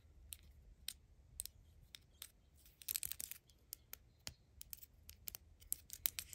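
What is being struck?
Small plastic deodorant tube.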